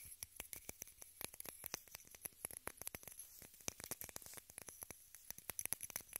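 Long red nails rapidly tap and scratch a small rectangular pink plastic case held in both hands. Dozens of quick, dry, bright clicks come in uneven bursts over a faint scratchy hiss. Each tick stops almost instantly, with no ringing.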